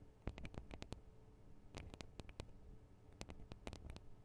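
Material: Metal, plastic.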